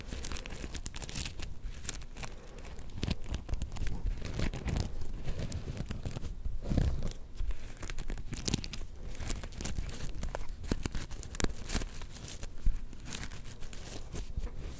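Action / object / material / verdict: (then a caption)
scrape / sequin-covered plush fabric star / sequins / none. Long nails scratch and flip the black and gold sequins on a small, soft, star-shaped plush. The result is a dense, continuous run of crinkly, tearing scratches with quick ticking clicks. The energy sits mostly in a low, soft rumble, with brief louder bursts throughout.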